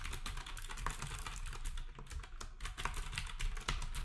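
A black compact plastic typewriter-style keyboard with round plastic keycaps is typed on rapidly with fingertips, while the other devices nearby stay untouched. Dense, overlapping clicks and clacks run steadily throughout, with a heavy low thump under each keystroke and bright, short taps that die away quickly.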